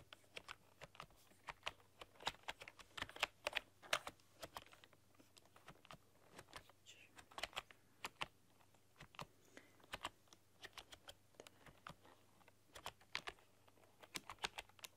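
Long dark-polished nails and fingertips type on a full-size plastic computer keyboard with black keycaps and a rainbow backlight, pressing and clicking the keys. Quiet, bright, short clicks and taps come in irregular bursts over a faint steady low hum.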